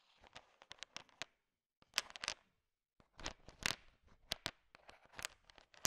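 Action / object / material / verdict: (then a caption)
scrape / pile of sugar-shelled chocolate candies / sugar shell / none. A thin wooden stick stirs and pokes a large pile of small, solid M&Ms, candy-coated chocolates with a sugar shell, so the candies click against each other. The sound is bright, dry clicking and crackling in short bursts that die away almost instantly. Two brief silent pauses break up the stirring.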